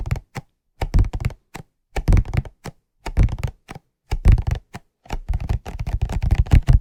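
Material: Cardboard.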